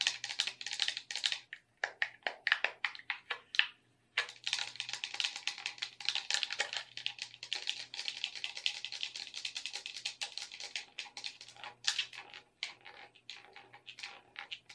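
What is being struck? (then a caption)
Plastic game controller. Long red nails tap the shell of a hollow black plastic gamepad and click its buttons and sticks. The result is a dense run of sharp, bright, dry clicks and taps with very short decay, broken by a brief silence near four seconds. A faint low hum sits underneath.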